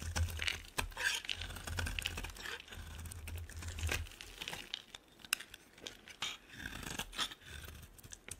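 A metal blade cuts into a solid yellow oval bar of soap and scrapes off shavings. The result is a run of dry, crisp scraping and crackling strokes with bright sharp clicks, over a low rumble that fades after about four seconds.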